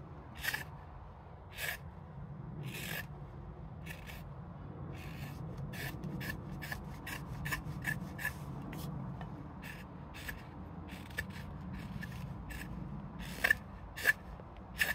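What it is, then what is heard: Green birch spoon bowl being carved. A small steel hook knife hollows the bowl of a solid green silver birch spoon held in the hand, cutting in scooping, scraping strokes. Short, bright rasping scrapes repeat over a steady low rumble, with a few sharper clicks near the end.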